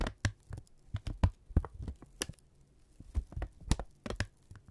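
A thin brown kraft paper strip, held in both hands, is crinkled, snapped taut and rubbed with fingertips. About 13 short, dry, irregularly spaced snaps and thuds cut through quieter rustling. Each one is heavy in the low end and dies away almost instantly.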